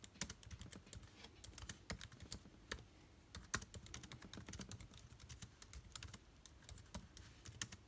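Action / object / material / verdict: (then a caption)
tap / laptop keyboard with plastic keys / plastic / none. Both ring-wearing hands type rapidly with their fingertips on a MacBook Air-style laptop's backlit black plastic keys, set in a silver aluminium body. A steady, quiet stream of short, dry key taps follows, each with a bright click over a soft low thump and almost no ring.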